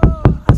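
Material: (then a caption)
Plastic. Three dull, low knocks on the thick, stiff plastic hull of an upturned Pyranha Scorch kayak, struck to show the quality of the plastic. Each knock is a deep thud centred near 120 Hz that dies away quickly with no bright ring, consistent with a solid hull that flexes only a little.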